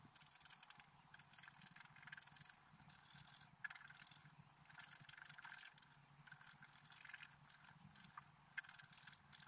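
A wooden stylus scrapes a flat, black-coated scratch-art card held flat by one hand, scratching out a deer with large antlers. The result is a run of quiet, dry, bright scratching strokes in uneven bursts, with a high hiss and almost no ring after each stroke.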